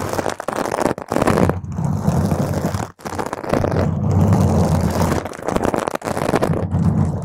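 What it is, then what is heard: Foam microphone windscreen being scratched. Long stiletto nails on both hands scratch and claw a round purple foam microphone windscreen, producing a dense, crackly rumble with low thuds. The scraping runs almost continuously, with brief drops near 1, 3 and 6 seconds.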